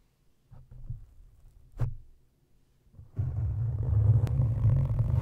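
Both hands scratch and rub a black foam windscreen covering the head of a silver studio microphone, with fingertips and nails working the soft, porous foam over its hollow metal grille. Sparse, muffled low thumps and scrapes with a brief brighter scratch give way after about three seconds to steady, louder rubbing that sounds like a deep, boomy rumble.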